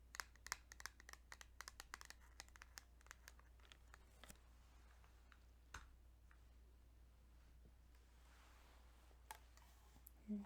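Fingertips tap quickly and lightly on a plastic Kirby's Dream Land 2 Game Boy cartridge, making dry, bright clicks that stop right away. The taps come fast and dense at first, then thin out to scattered clicks over a steady low hum. The clip ends with a duller, louder knock.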